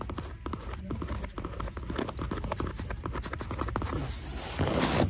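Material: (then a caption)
Leather. Long nails scratch the insole of a brown croc-textured leather loafer, then tap and scratch its textured outer surface. A quick run of dull, low taps mixes with dry scraping, growing louder and brighter toward the end.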